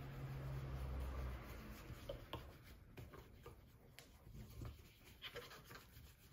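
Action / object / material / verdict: scrape / leather dress shoe rubbed with a cloth / leather / none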